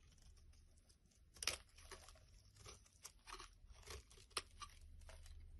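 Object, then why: Bar of soap. A black-handled blade scrapes a solid, hand-sized, pale yellow opaque soap bar, peeling off curly shavings. About seven short, dry, crunchy scraping strokes stand out, each bright and crisp with almost no ring, over a soft low hum.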